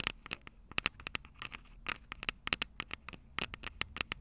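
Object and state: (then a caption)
Metal microphone capsule tapped with fingernails. Long purple nails scratch and tap the small, hollow, silver metal microphone capsules of a Tascam DR-05 recorder. The result is a rapid, irregular run of about two dozen sharp, dry clicks and scratchy ticks, bright and mostly high, with a ringing tone near 2.7 kHz and almost no decay after each hit.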